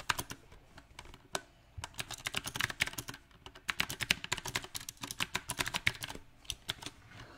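Fingertips type on a mechanical keyboard with round plastic typewriter-style keycaps set on a silver metal frame. The key taps come in an uneven rhythm of sharp, bright clicks that stop almost at once, with short pauses between bursts.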